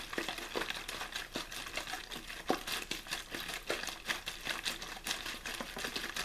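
One hand squeezes and crinkles an empty, hollow, partly crumpled clear plastic water bottle with a blue label. A steady run of quiet, bright crackles and snaps comes in irregular bursts, each dying away almost at once.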